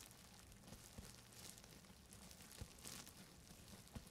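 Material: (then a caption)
Plastic. Grey fabric-gloved fingertips scratch and press a large sheet of clear plastic bubble wrap wrapped around a microphone, right beside the mic. The result is a steady, quiet crinkling and scratching over a low rumble, broken by a few sharp, brief clicks and bright rustles.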